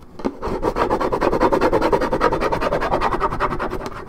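Long nails scratch the top surface of a hollow Minute Maid orange juice carton made of coated paperboard. A rapid, steady run of raspy scratching strokes continues throughout, with a hollow midrange tone and little brightness.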